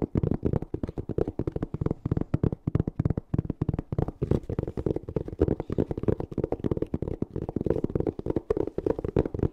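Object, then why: Small fabric-covered hard-shell zipper case. A palm-sized black fabric-covered hard-shell EVA zipper case, hollow and closed, is held in both hands and tapped and scratched with long painted fingernails. Rapid, dense streams of dull, hollow taps come with soft scratching. The sound is low and muffled, and each tap dies away almost instantly.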